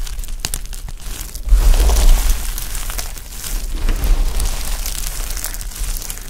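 A heap of dry pastel soap chips is pressed with flat palms, scooped and squeezed by the handful, then crumbled between fingertips. Dense, crunchy crinkling and crackling fills the clip, with heavier low thumps around 1.5–2 seconds and again near 4 seconds.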